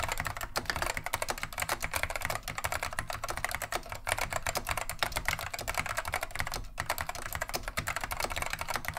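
Both hands type continuously with fingertips on a beige plastic vintage Wang 725 mechanical keyboard fitted with Alps SKCM neon green/lime switches. The result is a steady, rapid stream of crisp, bright clacks that stop short with no ring, over a faint low rumble, and it continues evenly for the full clip.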